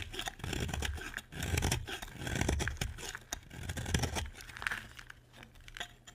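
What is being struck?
Bar of soap scraped with a knife blade.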